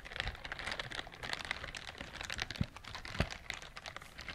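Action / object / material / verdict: scrape / silicone bristled scrubber glove / silicone / none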